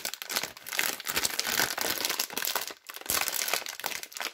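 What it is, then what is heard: Cellophane soap wrapper being crinkled and torn. Long red-painted nails and fingertips pinch, tear open and crinkle the clear, crinkly plastic cellophane wrapper of a small Duru lavender soap bar with the soap still inside. The result is dense, bright crackling and tearing with almost no low end, running nearly continuously apart from a brief lull just before the three-second mark.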